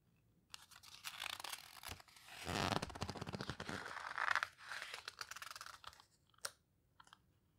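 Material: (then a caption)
Paper. In an open paper photo book of houseboats, a page is turned mid-way, then fingertips and long nails rub and squeeze the paper pages near the edges. Dense, crisp rustling and crinkling runs in uneven bursts for about five seconds. It ends with a single sharp papery flick and a few faint ticks before quiet.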